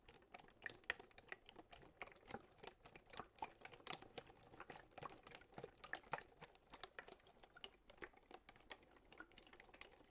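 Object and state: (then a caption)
Plastic water bottle. A large clear PET plastic drinking bottle with a label, mostly empty with a little water inside, is held up and tapped and squeezed with fingertips. It gives fast, dense, bright clicking with faint sloshing of the water. The sound stays quiet and close throughout.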